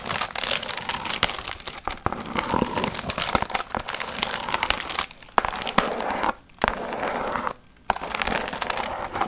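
Long nails scratch and crinkle the gold foil fringe on a hollow, pumpkin-shaped piñata. They make a dense, bright, papery rustle with crackly ticks. The crinkling runs almost continuously, then breaks off in two short silent gaps near the end before resuming.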